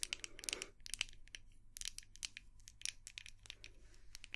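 Long nails tap and scratch a small white glass candle jar with a dark lid, making a quiet, rapid series of sharp, bright clicks mixed with short crinkly scratches. Each tap dies away almost instantly, over a faint low hum.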